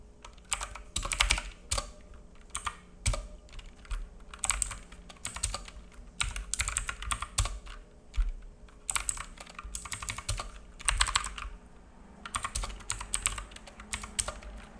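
Fingertips of both hands type on a black full-size mechanical keyboard with plastic keycaps and a hollow case, resting on a wooden desk. Bursts of rapid key taps give crisp, bright clicks over a low hollow thock, separated by short pauses. There is a faint steady hum underneath.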